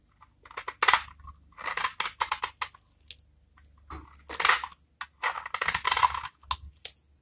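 A utility-knife metal blade scrapes across a small, solid, rectangular bar of very dry brown Vesna soap held in one hand, shaving off crumbly flakes. Short bursts of dry, crunchy, bright scratching come in uneven strokes separated by brief quiet gaps.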